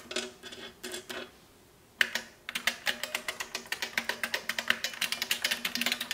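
Long nails and fingertips type on a large beige plastic Model F–style mechanical keyboard with shells resting on its front edge. A few soft clusters of taps are followed by a short pause, then a fast, steady run of bright, clacky keystrokes with almost no ring after each one.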